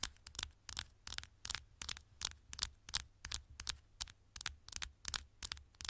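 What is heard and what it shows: Long nails tap and scratch the thin, solid gold aluminium back of a smartphone. A quick, uneven series of bright, sharp clicks and short scratches, each dying away almost instantly, sits over a faint low hum.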